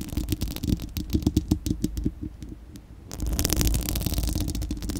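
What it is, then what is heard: Metal mesh microphone grille being scratched. Long acrylic nails on both hands scratch a bare, round, hollow-dome steel-mesh microphone grille. A quick run of sharp, bright scratchy clicks sits over a boomy low rumble, quiets briefly, then returns as a denser, continuous scraping.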